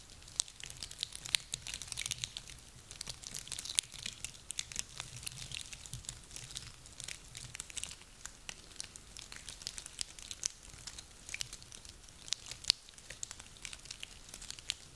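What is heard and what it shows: A handful of small, dry, woody pine cones is rubbed and squeezed together in cupped hands. The result is a steady, quiet stream of dry crackling and crinkling with many sharp, bright, high-pitched snaps and almost no low end, running throughout the clip.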